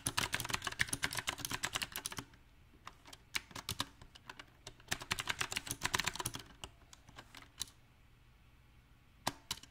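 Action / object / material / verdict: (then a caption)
tap / mechanical keyboard with round plastic keycaps / plastic / none. Fingertips of both hands type on a small 68-key backlit mechanical keyboard with round typewriter-style plastic keycaps on a silver metal plate. Bright, crisp clicks come in uneven rhythm: fast bursts of typing, then scattered single keystrokes with quiet gaps, then another burst. Each key press is short and dry, with little low-end thump.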